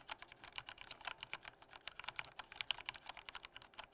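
Fingertips type softly on a black plastic full-size Corsair K68 mechanical keyboard with Cherry red switches. The key presses come as a quick, steady run of light, bright clicks with almost no low end and no ringing tail.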